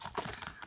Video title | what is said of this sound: Cosy Art Club - Funky Fish - Mixed Media | You can hear that ball bearing inside there shaking about.